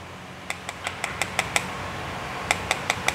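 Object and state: Clutch part that is plastic (nylon), not metal.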